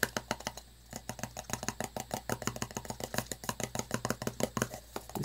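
A small, hollow, round metal tin with a paper label is turned over in the hands while fingertips and nails tap and scratch its labelled bottom and metal rim. A rapid, steady run of about thirty sharp, dry clicks with almost no ring plays over a faint low hum, with brief scratchy rustles between the taps.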